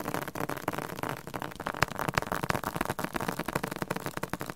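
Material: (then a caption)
Cardboard. A hardcover book with a cardboard cover is tapped aggressively. Rapid, irregular dry taps follow one another closely, each with a mid-range knock and almost no ring.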